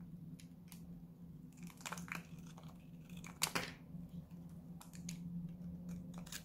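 A small, solid, dried-out white Lux soap bar is held in the hand and cut and scraped with a utility knife blade, flaking into shavings. Dry, crisp crunching and scraping bursts with bright edges sound over a steady low hum, with one sharper cut near the middle.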